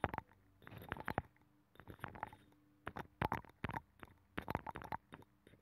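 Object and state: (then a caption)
Abalone shell. A thin metal pick scratches the inner ridges of a hollow abalone shell with a nacre interior, which is mounted on a microphone. The sound comes in quiet clusters of quick, scratchy clicks and rasps, each with a brief hollow ring near 790 Hz that dies away almost at once. Short silent pauses separate the clusters.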